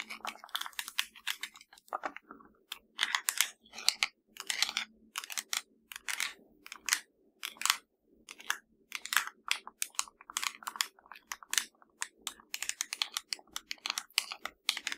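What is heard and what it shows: Fingertips and long nails tap rapidly across the buttons of a hollow black plastic LG TV remote. The result is a dense stream of dry, bright clicks in irregular bursts with brief pauses, each tap cut off at once with no ring. A faint steady low hum sits underneath.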